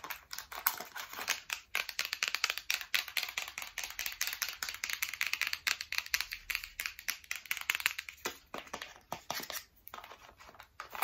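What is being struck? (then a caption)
Printed cardboard box with contents. Long nails tap rapidly on the front face of a medium printed cardboard retail box for a waterproof speaker, held upright with its contents inside. The result is dense flurries of crisp, dry, bright clicks, each ending instantly with no ring, in uneven bursts with short pauses.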